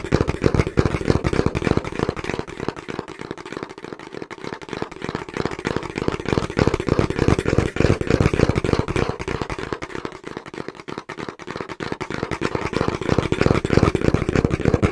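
A small, hollow brown cardboard box is held in both hands while fingertips tap rapidly on its front panel. The taps make a dense, steady stream of short, dull, hollow thuds, mostly low in tone with little brightness. The rhythm continues without a break for the whole clip.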